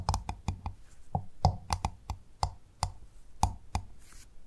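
Fingers or nails tap the hard shell of a pearl-bearing clam. About thirteen quick, clicky taps each land as a dull low knock with a brief tonal ring, dying away almost at once.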